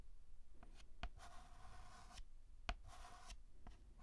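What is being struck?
Chalk stick on a chalkboard.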